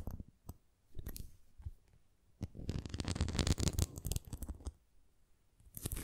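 Fingernails scratch along the rim edge of a red plastic flying ring toy with nubs, and then the ring is tilted. It makes soft scratchy, crackling contact sounds with a few sharp clicks, and a denser, louder burst of rasping in the middle before it quiets.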